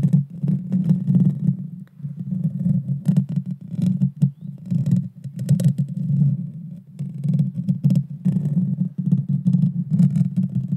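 Long dark fingernails scratch the hollow metal mesh grille of a Blue Yeti Nano microphone while hands partly cover it. The result is a dense, deep, rumbling scrape centered on a low hum, with rapid scratchy bursts and brief dips between passes.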